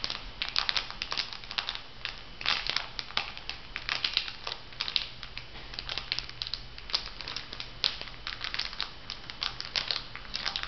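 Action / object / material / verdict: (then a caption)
scrape / foil sheet-mask packet / foil / none. A filled, flat printed foil sheet-mask packet is bent and crinkled by hands. The result is a steady run of bright, crisp crackles and crinkles that die away almost instantly, over a faint low hum.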